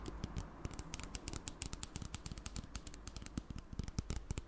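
A clear plastic spray bottle with liquid inside is tapped rapidly with long black nails, giving a dense run of about 32 short, crisp clicks with bright ticks over a soft low thump. Each tap dies away almost instantly. Near the end the bottle is tilted, so the liquid inside may slosh.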